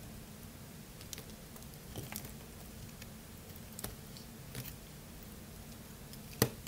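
A craft-knife blade, held in one hand, slices into a solid, dry, partly carved blue bar of soap. Soft, crisp crunches and brief ticking cuts are scattered over a quiet, steady low hum. One sharper, louder snap comes near the end.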